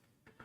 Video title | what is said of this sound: Baking Cabinet Re-Organization, Knife Sharpening, & MAYBE Dinner ⚡️LIVE⚡️ | This sounds solid in here.